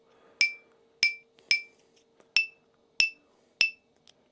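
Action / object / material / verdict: flick / 3D-printed carbon-fibre PPS plastic part / PPS plastic / none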